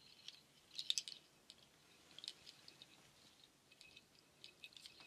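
A hanging nut shell waterfall shaker, made of dark hollow shells strung on white cord, is shaken and its strands are stroked with fingertips and nails. Soft, dry clicks and light rattles come in scattered bursts, centred around 3.7 kHz with a bright edge and almost no low end. The loudest clusters fall near the first second and again just past two seconds, then thin out to sparse, quiet taps.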